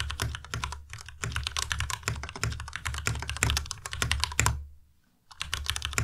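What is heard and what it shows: Fast typing with both hands' fingertips on a white plastic Ducky Miya Pro tenkeyless mechanical keyboard with RGB backlight, in dim light. The rapid keystrokes blend a deep thocky low end with bright, crisp clacks. The typing stops for a brief pause near the five-second mark, then resumes.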